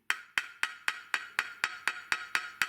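A Japanese sharpening whetstone is tapped eleven times at a steady pace, each tap a short, bright knock with a pitch near 1.4 kHz that dies away almost instantly. The stone sounds full and solid rather than hollow, the mark of a harder stone in contrast to a soft one.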